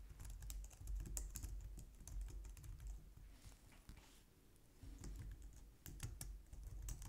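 Both hands type on a white plastic low-profile wireless keyboard using long nails and fingertips. The result is a steady, irregular stream of bright plastic clicks and taps over soft low thumps, easing into a quieter stretch near the middle before picking back up.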